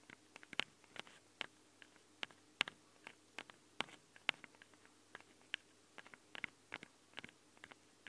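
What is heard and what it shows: Long nails scratch and tap the sides of a handheld recorder's metal microphone capsules. About twenty sharp, bright clicks and scrapes arrive at an uneven pace over a quiet background. Each one is dry and instantly damped, with its energy centred around 2.9 kHz.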